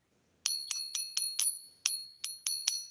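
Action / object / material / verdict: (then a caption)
tap / silver coin / silver / real. A silver coin is ping-tested to tell silver from other metals, giving nine sharp, high, bell-like pings with a bright ring that fades quickly after each strike. The coin rings clearly, consistent with real silver.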